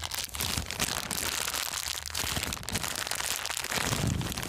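An empty, thin, clear transparent plastic bag is held in both hands and crumpled and squeezed with the fingers. It gives a steady, dense, bright crinkling and crackling throughout, with a slightly fuller, lower crunch near the end.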